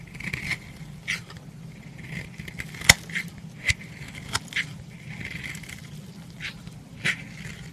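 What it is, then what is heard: Bar soap being shaved. A metal knife blade shaves a solid lilac bar soap, turning off powder and curls in eight short, dry scrapes with crisp, crackly clicks. The strokes have a bright edge centered around 2 kHz and stop almost instantly, over a faint low rumble in the pauses.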